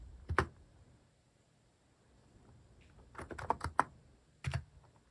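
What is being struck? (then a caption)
Mechanical keyboard with plastic keycaps. Fingertips type on a cream mechanical keyboard fitted with sculpted plastic cat and paw keycaps. Short, dry clacks with a low thump and a mid-range click come in irregular bursts: a pair at the start, a quick run of presses in the middle, and another pair near the end, separated by quiet pauses. Each keystroke stops almost instantly with no ring.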